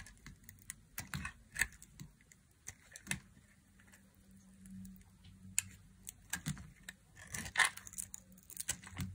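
A hand-sized, solid white bar of dry soap is held between the fingers and carved with a thin black blade, sending curls and crumbs breaking off. Crisp, bright scraping and crackling clicks come in irregular bursts, with a faint low hum underneath.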